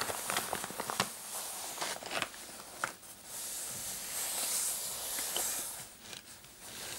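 Short painted nails scratch the dark floral fabric of a soft, hollow coin purse clutch with a metal kiss-lock frame, giving bright, crackly scratching with soft, quick taps. The hands then lift the purse and squeeze and rub it, producing a steadier rustling hiss.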